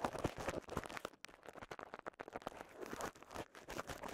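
A small wad of clear polyethylene bubble wrap with visible air bubbles is popped and crinkled with fingertips. A dense, quick string of sharp pops and crisp crackles comes through, each snapping off almost instantly. The sound is fairly quiet and close, with a brief dip near the middle before the crinkling picks up again.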